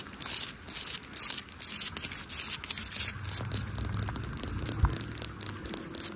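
Long nails scratch and tap along the bricks and mortar of a solid red brick wall, giving bright, hissy scraping strokes. The first half has distinct rhythmic scratch bursts, which then give way to quieter, denser continuous rubbing with a faint low rumble underneath.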